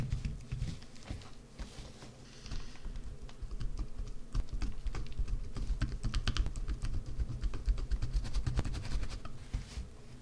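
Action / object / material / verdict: scrape / bar of soap / soap / none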